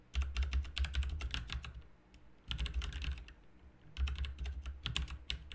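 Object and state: Mechanical keyboard typing.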